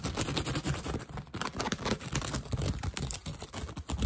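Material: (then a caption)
Straw. Fingertips and short nails scratch and tap quickly on the hollow crown of a woven straw hat that is held up. The result is a dense run of dry, rustling scratches and soft, hollow thumps with a lot of low body. Each hit dies away almost at once.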